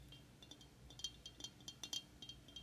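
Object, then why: Glazed ceramic figurine. A hand-sized, glossy glazed ceramic Easter figurine, likely hollow, with a green egg-shaped body, painted flowers and a yellow chick, is held in the hand and tapped with painted fingernails. About fifteen quick, bright clinking taps ring like a chime, each fading almost at once.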